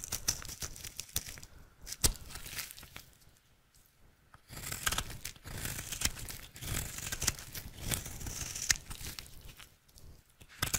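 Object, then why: Soap bar. A utility knife blade carves flakes from a square, solid, dry teal soap bar held in the hand. Bursts of bright, crackly scraping and cutting come in uneven strokes, with a quieter pause around the middle before the shaving picks up again.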